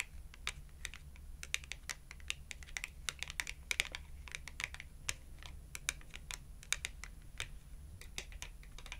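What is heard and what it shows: Long acrylic nails rapidly tap the edge of a small red glossy cardboard clothing tag held edge-on. The result is a fast, uneven stream of crisp, bright clicks that stop almost instantly, over a steady low hum.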